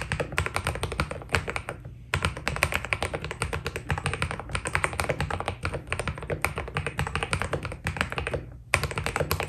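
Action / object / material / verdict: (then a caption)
tap / mechanical keyboard with PBT plastic keycaps / PBT plastic / none. Fingertips type steadily on a white Keydous NJ80 mechanical keyboard with PBT plastic keycaps, producing rapid, short clicky taps with a low thocky body under each press. The typing runs continuously with brief pauses near the 2-second and 8.5-second marks before resuming.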